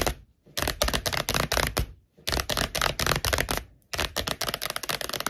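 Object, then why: Paperback book with card cover. Long acrylic nails tap and scratch quickly across the glossy card cover of a thick *Sex and the City* paperback book, solid paper, lying flat on a wooden table. Rapid, dry clicking taps with a bright, scratchy texture come in dense bursts separated by short silences. Each tap dies away almost instantly.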